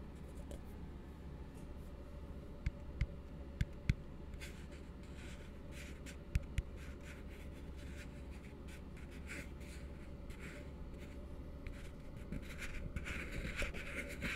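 An empty, hollow blue plastic tumbler is held upside down and tapped and scratched with fingertips. Six sharp, short taps stand out over a steady low hum and soft scratching. The scratching grows louder and brighter toward the end.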